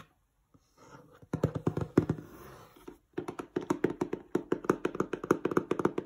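Fingertips tap on the glossy printed cardboard box of a set of LED string lights, which is hollow and likely full, first on the front panel and then on the side panel. After a quiet start, quick bursts of dull, hollow taps sound with a low-mid thump, interrupted by a brief soft rustle. A faster, steadier run of crisp taps follows, each dying away almost instantly.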